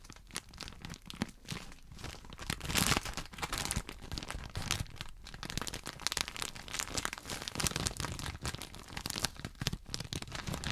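Fingertips crinkle and scratch the clear plastic wrapper of a small, rectangular, pink-patterned package held up beside the right microphone. A continuous run of dense, bright crackling and rustling rises in brief swells, with one louder crinkling burst near three seconds.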